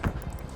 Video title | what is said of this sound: Wreck From Hell (Part 1) - Full Episode - S7 EP07 - Highway Thru Hell | We could sort of tell where the load is by banging on the trailer.